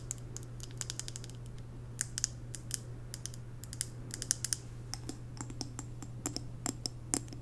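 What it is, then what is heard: Glass candle jar tapped with nails. A large WoodWick candle in a blue glass jar full of wax is held in the hands and tapped with long nails on its glass sides and top. Quick, sharp, bright clicks patter in uneven runs, each dying away at once, over a steady low hum.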